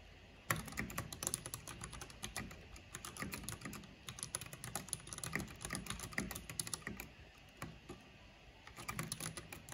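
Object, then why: Plastic mechanical computer keyboard. Fingertips with long painted nails type quickly on a black plastic backlit mechanical keyboard with hollow plastic keycaps. The result is a dense run of short, crisp clicks and clacks with a low hollow thock under bright tops. The typing briefly thins out before picking up again near the end.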